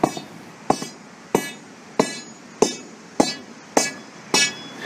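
A sounding rod is tapped repeatedly on a delaminated area of a concrete deck, roughly once every 0.6 seconds. Each tap gives a sharp, bright clink with a brief metallic ring that fades quickly into faint background noise. The area is found to be delaminated concrete.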